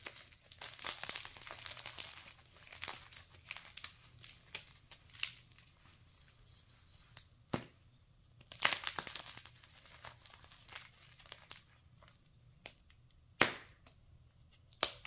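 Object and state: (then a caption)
Dry, brittle gym chalk block crushed and snapped. A solid white block of gym chalk (magnesium carbonate), dry and brittle, is squeezed to crumbs between bare fingers, then a slab is snapped into pieces with both thumbs. Soft, bright crumbling and crinkling fills the clip, broken by several sharp, quick snaps toward the end.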